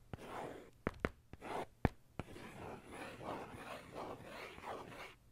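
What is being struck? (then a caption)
Faux-leather notebook cover, metal pen tip. The tip of a metal ballpoint pen taps and scratches a dark faux-leather notebook cover held flat near the face. Eight sharp, short taps stand out, mostly in the first half, with soft, continuous scratching and rubbing filling the gaps and carrying on after.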